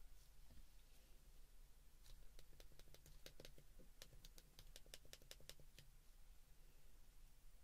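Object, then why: Plastic flip phone keypad. Fingertips and thumbs press the keypad buttons of a white plastic flip phone, making a quick run of sharp, bright little clicks, each dying away almost at once. A steady low hum sits underneath the whole clip.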